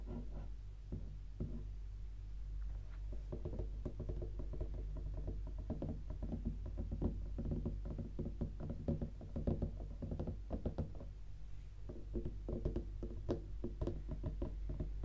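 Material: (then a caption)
Cardboard. Long pink nails tap and scratch a closed, rigid white cardboard gift box with red stars and a hollow lid, first with one hand and then with both. The result is a dense, continuous stream of soft, low, hollow knocks and scratches that die away quickly, over a steady low rumble.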